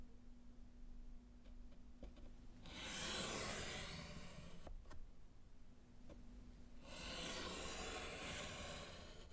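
A gloved hand strikes through words with pink chalk on a small, flat, solid slate chalkboard in a wooden frame. Two long, bright scratching and rubbing passes rise out of a quiet background, separated by a short pause with a few faint ticks.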